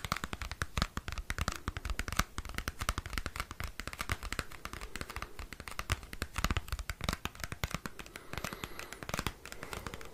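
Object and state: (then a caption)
Cardboard CD sleeve. Fingernails scratch and tap a small square cardboard CD album sleeve held close to the microphone. The result is a dense run of dry, crisp clicks and scratchy rustles with almost no ring.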